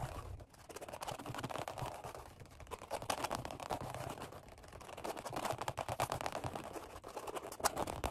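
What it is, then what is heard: Vinyl-upholstered workout bench pad. Fingertips and short nails rapidly tap and scratch a black padded Flybird workout bench seat made of vinyl over foam. The result is a dense, continuous stream of quick, dry clicks and scratchy scrapes with a muffled mid-range body and brief, crisp bright edges.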